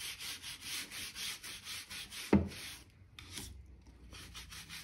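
A stiff-bristle crevice brush is rubbed back and forth along the joints between solid oak floorboards, sweeping dirt and dust from between the planks. Steady, bright, hissy scratching strokes repeat in a quick rhythm, broken by a short low thump. After a brief pause, the brushing resumes more softly.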